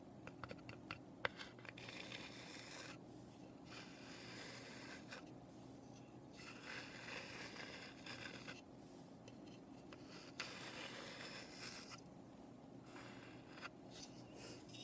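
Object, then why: Small pine wooden birdhouse. Long nails scratch the flat panels of a small, hollow, unfinished light pine birdhouse. Quiet, bright scratching comes in long strokes and bursts, with a few sharp taps. A faint steady low hum runs underneath.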